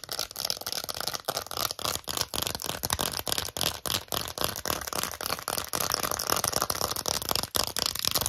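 Long acrylic nails rapidly tap and scratch an empty, small, hollow lilac glossy plastic phone case with gold trim and a ring holder. They make a steady stream of quick, bright clicks and scratchy rustles. Each tap is sharp and dies away almost at once, with little low end.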